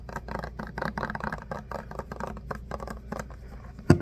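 Fingernails tap and scratch the label and body of a plastic hand soap pump bottle filled with soap, making a quick run of soft, dry clicks and scrapes over a low hum. A sharper, louder knock comes just before the end.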